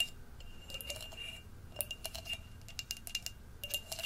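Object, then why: Glass jar. Long nails tap and scrape the rim and inside of the opening of an empty, hollow orange glass jack-o'-lantern jar with a wire handle. The result is quick, bright glassy clinks over a steady ringing tone around 2.8 kHz, with soft scraping between the taps.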